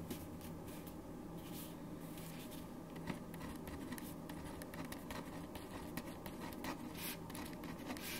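A black ballpoint pen writes on a thin white paper sheet resting on a wooden desk, the sheet steadied by the left fingertips while the right hand writes. Soft, steady scratching strokes with faint bright ticks run continuously over a low, even background hum.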